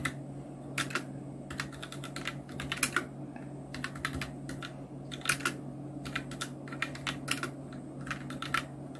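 A full-size black Nubwo Illution NK-70 plastic mechanical keyboard with Outemu red switches, round plastic keycaps and blue backlight is typed on continuously with the fingertips of both hands. Quick, bright clicky keystrokes come in irregular bursts and clusters over a steady low hum, each tap dying away almost at once.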